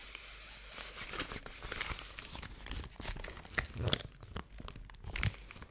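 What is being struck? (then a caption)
Thin crinkly paper sheet. A thin yellow crinkly paper sheet, possibly formed into a pouch, is held in both hands and crinkled and crumpled with fingertips and long painted nails. The sound is a continuous bright, dry crackling and tearing-like rustle with sharper crisp snaps near the end.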